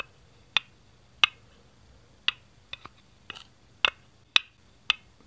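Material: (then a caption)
Plastic. Fingertips tap, tilt and set down a single small, hollow green plastic Duplo brick next to the baseplate. The result is a series of sharp, bright, dry clicks spaced irregularly over quiet background, each dying away almost instantly.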